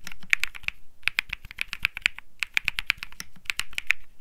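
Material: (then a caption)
Plastic. A cream mechanical keyboard with plastic keycaps is typed on continuously by fingertips, producing a rapid stream of sharp, clacky key presses. Each press is a bright, dry click with a little low thock underneath and almost no ring. The typing comes in bursts with brief pauses.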